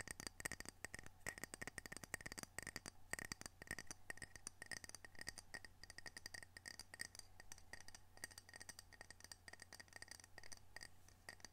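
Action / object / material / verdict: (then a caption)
tap / ceramic coaster / ceramic / none. A ceramic coaster from Camano Island, Washington, decorated with orcas, is tapped and scratched with quick, light, dense strokes. The clip is a steady stream of short, bright clicks and scraping ticks with a faint ringing tone near 1.9 kHz, all over a low, constant hum.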